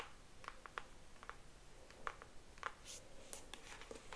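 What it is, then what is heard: Cardboard box tapped with nails. Long nails tap and scratch a pink cardboard Mojave brush box, hollow packaging with the brush still inside, held up close. The result is a quiet series of short, dry clicks with a papery hollow tone around 1 kHz, interspersed with soft bright scratching over a faint low background hum.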